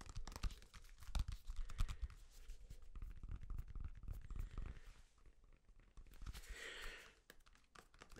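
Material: Banana peel.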